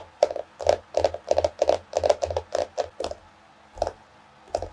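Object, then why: Cardboard hardcover notebook. Long nails tap rapidly with both hands on the solid cardboard cover of a small floral hardcover paper notebook. The result is quick clusters of dry, clicky taps with a hollow midrange tone around 590 Hz that stop almost instantly, separated by brief pauses and ending with a few sparser taps.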